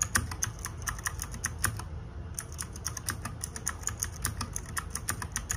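Fingertips and nails type rapidly on the plastic keycaps of a small RGB-backlit 60% mechanical keyboard. A fast, steady stream of short, bright clacks plays over a faint low rumble, with a brief pause near the two-second mark before the typing resumes.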